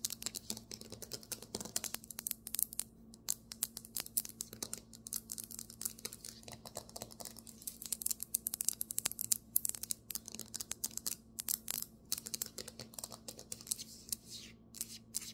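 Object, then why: Marble table top. Fast tapping and scratching on a marble table top: a quick run of sharp, bright clicks with almost no ring, mixed with brief scraping strokes. A faint steady hum sits low underneath.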